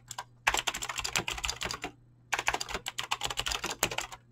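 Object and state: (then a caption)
Mechanical keyboard with PBT keycaps. Fingertips with short nails type fast on a full-size mechanical keyboard with Razer clicky green switches and dyed PBT plastic keycaps, resting on a desk. Two bursts of rapid, continuous, bright clicky key presses with sharp, short attacks are separated by a brief pause, over a faint steady low hum.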